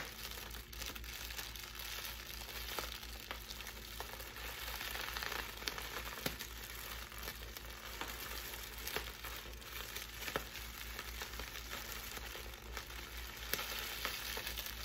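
Bunched clear plastic air-cushion packing wrap with blue print is crinkled and squeezed in both hands with long nails. The result is a steady, dense, bright crinkling and crackling, with occasional sharper snaps standing out above a faint low hum.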